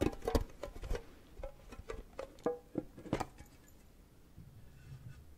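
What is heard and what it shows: A small, hollow, wedge-shaped printed metal cake-slice tin with its lid on is held up and tapped quickly with fingernails and fingertips. The result is an uneven run of short, bright clicks and dull knocks with a faint hollow metallic ring that dies away almost at once. The tapping thins out toward the end, leaving quiet low handling noise.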